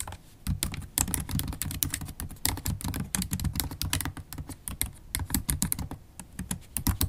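Continuous typing on a MacBook Pro keyboard, black plastic keys set in an aluminium body, struck with long acrylic stiletto nails. The nail tips make rapid, bright clicks and taps over a low, soft thud from each keypress. The clicks come in an uneven stream with short pauses and die away almost instantly.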